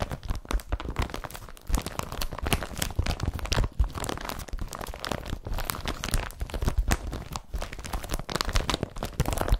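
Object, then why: Woven polypropylene carrier bag. Both hands scratch a blue woven polypropylene IKEA BRATTBY carrier bag laid flat, using fingertips and short nails. The result is a steady, dense run of quick rasping, crinkling scrapes with a heavy low rustle, each stroke short and dry with almost no ring.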